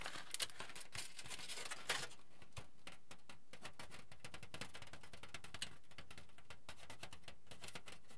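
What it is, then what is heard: Aluminium foil sheet crinkling. A thick, crinkled sheet of aluminium foil is held up in both hands and bent and shaken so it crinkles. It makes a dense, quiet stream of crackly, bright rustling and snapping, with a few sharper bursts near the start that settle into steady, softer crinkling.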